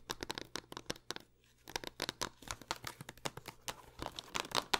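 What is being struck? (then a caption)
Plastic game case tapped and scratched with fingernails. Long acrylic nails rapidly tap and scratch the front and edges of a hollow green plastic Xbox One game case for Five Nights at Freddy's, held in the hands over purple satin and then lying on it. The result is a fast stream of sharp, bright clicks and crinkly scratches, possibly from the case's plastic sleeve, with a brief pause near the start.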